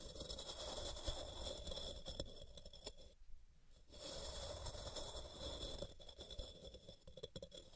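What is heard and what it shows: Long purple-painted nails scratch the sides of a palm-sized, solid white rectangular block of pressed gym chalk (magnesium carbonate) resting on a cork mat, with powder piling up at its base. The result is a steady, dry, bright scraping with a low rumble underneath, interrupted by a near-silent pause of about a second midway before the scratching resumes.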